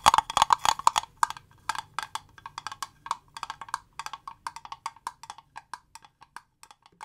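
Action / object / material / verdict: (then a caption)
tap / small rigid clear plastic box / plastic / none. Long fingernails tap the faces and edges of a small, transparent, rigid plastic cube box with green contents inside. About 33 short, dry clicks with a hollow tone near 1 kHz and bright edges come in an uneven rhythm, dense and quick at first, then sparser and softer. Each tap stops almost at once with no ring.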